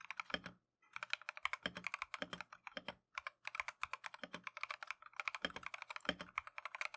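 Gloved fingertips type continuously on a plastic Keychron V1 mechanical keyboard fitted with Tangerine switches and green and cream PBT keycaps. Rapid, crisp, bright clacks with very short decay are heard, with occasional deeper thocks and two brief pauses in the typing.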